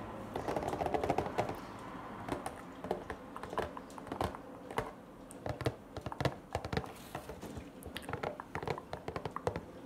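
Fingertips and short nails tap on a small, hollow, rectangular printed cardboard La Casa de Papel "Tokio" Funko Pop collectible box with a clear plastic front window and the figure inside, which stands on a wooden table and is turned to show its different sides. Quick, dry, hollow clicks and light taps come in irregular, rapid bursts, each one dying away almost at once. A brief rustling scratch sounds near the start.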